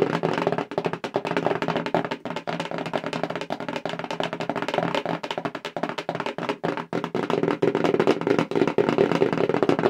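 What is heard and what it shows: A hollow black cardboard subscription mailer box, held up in front of the face, is rapidly tapped with long acrylic nails. It makes a dense, continuous stream of quick, dry, woody clicks with a hollow midrange body and very short ring.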